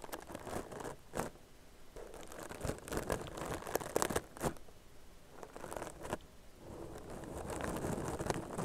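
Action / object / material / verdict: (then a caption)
scrape / crocheted yarn bag / yarn / none. Long nails scratch rapidly over the texture of a soft, hollow, tan crocheted yarn purse. The result is a dense, irregular rustling and crinkling with short, dry scratchy bursts that stand out now and then, and the scratching swells into a steadier, fuller rasp toward the end.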